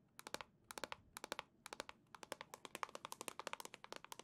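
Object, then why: Plastic console dock. Long nails tap on a hollow black plastic Nintendo Switch dock, making about 34 sharp, dry clicks with no ring. The taps come in quick clusters of three or four at first, then settle into a steady run, each click bright and hollow with a tone near 1 kHz.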